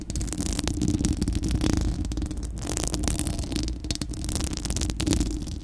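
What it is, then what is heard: Metal mesh microphone grille scratched by nails. Long acrylic nails on both hands scratch a bare, round, hollow-dome steel-mesh microphone grille. The result is a continuous, dense scratching and rubbing noise that is heavy in the low end, with a steady low rumble and quick bright, crackly strokes layered on top.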